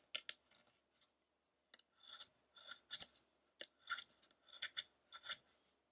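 A small steel carving chisel is pared by hand across the face and torso of a large, solid, unfinished carved wooden Buddha statue of the fasting Shakyamuni, lying on a dark table. The result is a series of quiet, short, crisp scraping cuts, bright and dry, with almost no low end and no ring between strokes.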